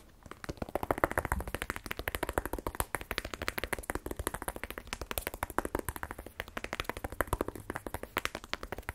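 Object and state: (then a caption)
Cardboard phone box. A small, black, rigid cardboard iPhone 12 Pro box, hollow with the phone inside, is held in one hand and tapped with quick fingernail taps. Dozens of short, dry clicks with a hollow midrange knock run continuously, each dying away almost instantly.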